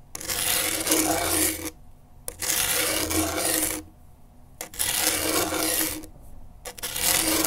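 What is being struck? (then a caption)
Grip tape on a skateboard deck. A pen tip held in a gloved hand scratches across coarse grip tape on a skateboard deck. Four long, bright, raspy scraping bursts are separated by short pauses, with faint ticks between them as the tip lifts and lands again.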